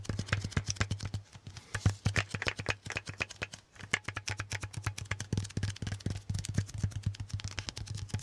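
Fingertips repeatedly tap and pull off the surface of a handheld lint roller, a white sticky adhesive paper roll on a grey plastic handle held upright close to the mic. Dozens of quick, crisp sticky taps and peeling clicks come in dense bursts, with brief lulls near 1.3 and 3.7 seconds. A steady low hum sits underneath the whole clip.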